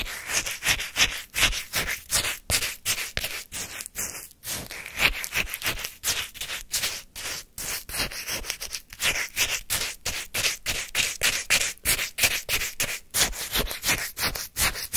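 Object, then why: Shaved-ice sorbet in a paper cup, wooden spoon. A wooden spoon repeatedly scrapes the icy surface of a full paper cup of granular orange shaved-ice sorbet. Quick, crisp, gritty scraping strokes come at roughly three per second in an uneven rhythm. The sound is bright and crunchy with very little low end, and each stroke cuts off almost instantly.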